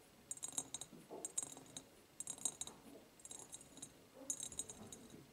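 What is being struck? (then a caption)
Empty ribbed glass jar. Long painted nails tap on the sides of an empty, medium, ribbed clear glass jar. They make five quick bursts of light, clicky taps with a bright, high glassy ring. The ring dies away almost at once, with a faint soft rustle underneath.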